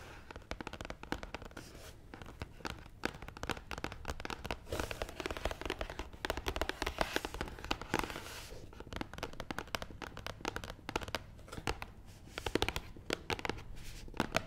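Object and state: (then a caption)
Cardboard box tapped with nails. Long nails tap rapidly across the top of a long, hollow, black matte cardboard box. The result is a dense, continuous patter of short, dry clicks and scratchy taps with a hollow, papery body, rising and falling gently in loudness throughout.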